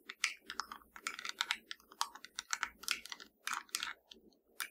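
Long nails tap and scratch a small, hollow black plastic TV remote with blue and purple rubber buttons, held in one hand. The result is a quick, irregular run of bright, dry clicks and taps that stop almost instantly, with soft scratching between them.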